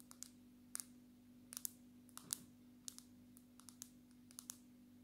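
Long natural fingernails tap a solid handheld black smartphone with a glass front in a dark red case, striking both the screen and the back. About fourteen sharp, bright clicks land at an irregular pace, each dying away almost instantly. A faint steady low hum runs underneath.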